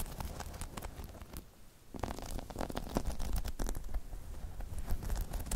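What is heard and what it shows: Long chrome nails scratch and tap the spikes of a hollow, spiky rubber half-dome balance pod. The result is a dense, irregular stream of soft scratches and light taps over a low, muffled rumble, with a brief quieter pause before it picks up again and grows slightly louder.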